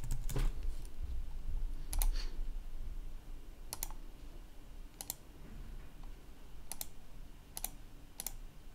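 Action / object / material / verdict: tap / plastic laptop keyboard / plastic / none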